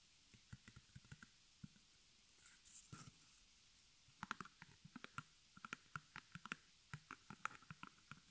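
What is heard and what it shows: Long nails tap and scratch the front of a small white embroidered stretched canvas on a hollow wooden frame, held in the hands. About twenty quick, dry, hollow taps ring out with almost no ring. A soft, bright scratching stretch comes near the three-second mark.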